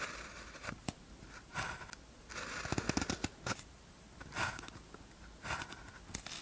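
A blue ballpoint pen tip scratches across a thin white paper practice sheet with a red grid, lying flat, while writing characters. The result is quiet, dry scratching and crackly strokes, with short bursts of brighter rasp and small ticks between them.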